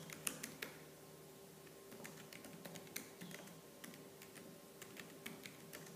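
Fingertips with purple-painted nails type fast on the black plastic keys of a laptop keyboard. Quick, bright clicks and clacks land in uneven bursts, with a few sharper taps standing out over a faint, steady low hum.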